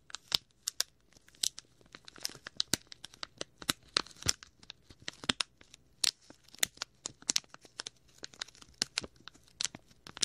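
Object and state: Clear plastic bag.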